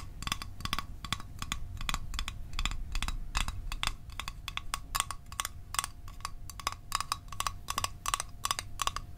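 A small, hollow metal Altoids mint tin is held upright and tapped quickly with the fingertips and nails. The result is a steady run of short, bright metallic clicks with a faint ring around 1.1 kHz that dies away almost at once, over a low background rumble.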